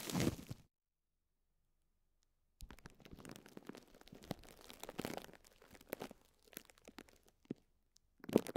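Fingertips and short nails press and crinkle thin clear plastic cling film wrapped around a small pink and yellow sponge block. A short burst of crinkling gives way to about two seconds of silence. Then comes a steady stretch of soft, dry crackling with scattered sharper snaps, ending in one louder crunch.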